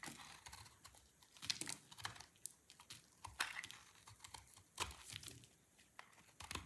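A snap-off utility knife blade shaves and carves a solid, dry green soap bar, and sticks of soap break off. Crisp, bright scraping runs under irregular crunchy snaps that stop short with almost no ring.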